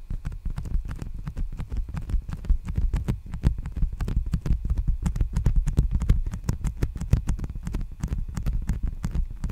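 Fingertips tap and scratch along the surface and sealed edge of a large, empty black poly bubble mailer envelope held upright. A steady run of rapid, soft, deep thumps lasts the whole clip, with brief bright crackles from the plastic.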